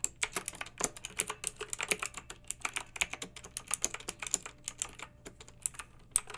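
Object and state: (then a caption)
Plastic mechanical keyboard. A pink backlit plastic mechanical keyboard with round typewriter-style plastic keycaps is typed on two-handed with fingertips and long painted nails. The result is a rapid, steady run of short, bright clicks and clacks that die away almost instantly, with a faint low hum underneath.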